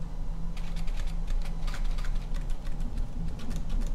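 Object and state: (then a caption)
Foam jack-o'-lantern tapped with nails. A small, hollow orange glitter-coated foam or plastic jack-o'-lantern with a carved face is held in both hands and tapped and scratched with long painted nails. The result is a quick run of light, bright, clicky taps, like typing, over a steady low hum, with an added echo/delay effect.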